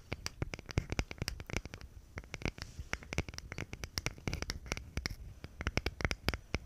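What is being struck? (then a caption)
Thin plywood box. Long nails scratch and tap the grain of a small, thin plywood box or panel held in both hands close to the microphone. Dense, irregular clicks and taps with a bright edge ring out over soft scratching, each hit dying away almost instantly.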